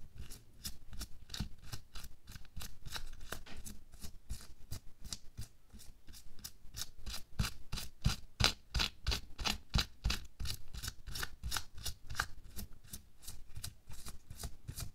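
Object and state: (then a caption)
Latex glove being scratched. Bare fingertips and nails scratch and rub the fingers and back of a hand wearing a thin pink latex or nitrile glove, lying flat on a white table. About three quick, bright, rasping strokes a second come in a loosely regular rhythm, each dying away almost instantly, over a soft low rumble.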